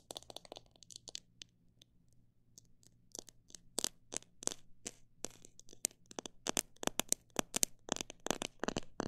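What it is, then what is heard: Plastic jar of bird seed. Long black nails tap on the sides of a clear plastic jar full of mixed bird seed. They make short, bright clicks with almost no ring, in quick clusters at first, then a quieter pause, then steadier, sharper taps. A faint low hum runs underneath.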